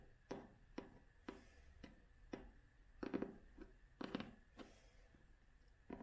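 A vintage hardcover book with an illustrated cloth cover is held upright and tapped with long nails. The result is a series of short, dry, muted taps with almost no ring, spaced irregularly, with a few quicker clustered taps in the middle.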